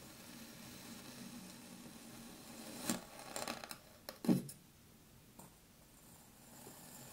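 A metal knife slices through a small, solid pink kinetic sand dome resting on a wooden table, with an untouched green mound nearby. A quiet, steady hiss gives way to a cluster of soft, gritty cutting sounds in the middle of the clip, the loudest a low, muffled crunch. A faint tick follows before it settles back into low background noise.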